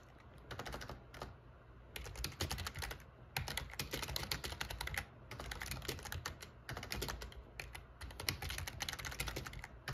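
Fingertips type continuously on the plastic keys of a backlit black plastic gaming keyboard, producing rapid, bright click-clack bursts separated by brief pauses. A steady low hum and a faint high tone run underneath throughout.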